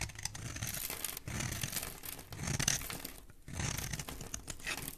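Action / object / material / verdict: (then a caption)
scrape / bar of soap cut with a metal blade / soap / none. A metal blade cuts into a solid green bar of soap held in the hand, carving it into ridged shavings. Dense, crisp scraping and crinkly shaving sounds run in continuous strokes, broken by short pauses, with a bright, high hiss over a soft low rumble. The strokes stay quiet and close, with almost no ring after each one.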